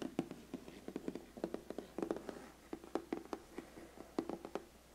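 Fingertips and nails tap rapidly on the lid of a large, flat, closed, black glossy cardboard biscuit gift box. A quick, uneven series of short, dry, hollow taps sounds around a low-mid tone near 260 Hz, each dying away almost at once. The tapping stays soft throughout.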